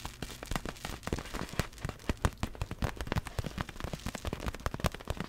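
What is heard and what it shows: Long black fingernails tap rapidly on the surface of a large, hollow, clear vinyl inflatable ball with glitter inside. The result is a fast, irregular stream of short, dry taps with a soft, hollow low thump under each one and almost no ring.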